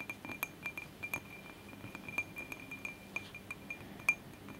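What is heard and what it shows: A glass candle holder is tapped repeatedly in a quick, uneven series, each tap a short, bright glass clink with a clear tone near 2.4 kHz. The taps stop almost at once with little ring, over a faint background hiss.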